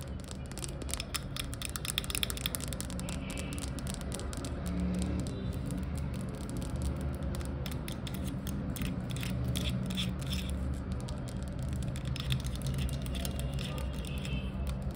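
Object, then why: Plastic squeeze bottle of honey. Long acrylic nails rapidly tap and scratch the front label area of a full, upside-down plastic honey squeeze bottle with a black cap, standing on tile. A dense stream of quick, bright clicks and scratchy rasps plays steadily over a low, rumbly background.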